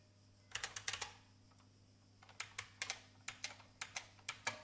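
Long painted fingernails tap the keys of an old, full-size beige IBM plastic mechanical keyboard with a hollow case. A quick burst of bright, sharp clacks is followed by a short pause, then a steadier run of typing taps. Each click dies away almost instantly over a faint low hum.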